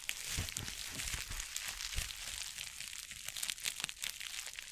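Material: Plastic.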